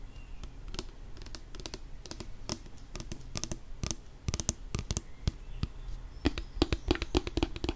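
Long nails tap a filled plastic nail polish remover pump bottle, making quick, dry, clicking taps with a hollow low body and a bright edge. The taps come in irregular bursts and clusters, some faint and some sharper, and each one dies away almost instantly.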